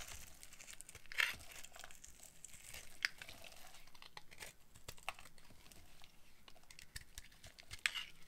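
A metal utility-knife blade carves a solid oval bar of dried pink soap, held in hand, into crunchy flakes and curls. Dry, bright crackling and scraping runs throughout, punctuated by a few sharper crunchy snaps as pieces break away.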